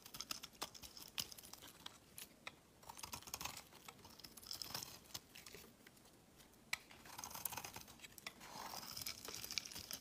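A utility knife blade shaves thin flakes off a solid, hand-sized, cream-white rectangular Palmolive soap bar. The result is quiet, bright, crisp scraping strokes and sharp little clicks, with stretches of softer rasping.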